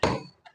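A part of an old railway clock is struck, giving a tap with a bright, metallic ring around 445 Hz that decays over about a quarter second. A softer tap follows, then a third sharp onset at the end; the clock still rings when struck.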